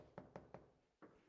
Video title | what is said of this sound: This Greensburg Mansion Sat Empty for Two Years | this is wood frame and hollow